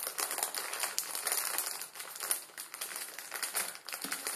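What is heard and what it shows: Fingertips squeeze and crush a full plastic-film ramen noodle packet on a wooden table, breaking the dry noodle block inside. A steady, dense crinkling and crackling of plastic with many quick, bright snaps from the brittle noodles comes through, with almost no low end.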